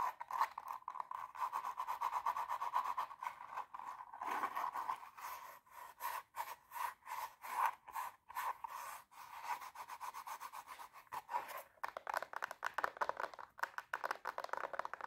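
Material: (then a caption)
Glitter fabric. Long nails scratch and rub the glitter surface and sole of a hollow, empty silver glitter high-heel pump with a black lining and sole. The result is a dense run of quick, dry, raspy strokes centered in the midrange, with no ring. The strokes come in short bursts and grow busier and brighter toward the end.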